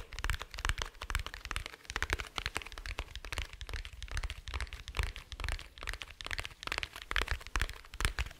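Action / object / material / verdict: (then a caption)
tap / hard plastic glasses case / hard plastic / none. Fingertips and nails tap on a small, dark, rigid, hollow glasses case held close to a microphone. A dense, uneven stream of quick dry clicks with bright crackly edges rides over a hollow, low thump, and each tap dies away almost instantly.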